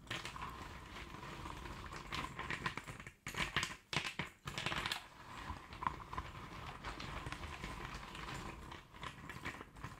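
Fingertips and nails of both hands rake, scratch and shuffle a tray of loose cardboard jigsaw puzzle pieces continuously. The sound is a steady, dense rustling clatter with bright scratchy detail and a faint tone near 1 kHz, with a few brief quieter gaps around three to four seconds before the shuffling resumes.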